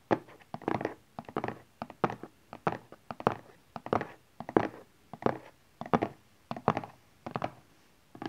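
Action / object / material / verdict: tap / small rigid cardboard box / cardboard / none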